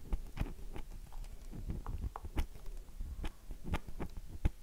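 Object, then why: Bar of soap. A solid, oval, light-blue dry bar of soap with a heavily carved surface is held in both hands and scratched and tapped with long nails. Soft, dull taps and scratchy clicks come in an irregular rhythm, with a low thud beneath each and brief bright scraping flicks, all dying away almost instantly.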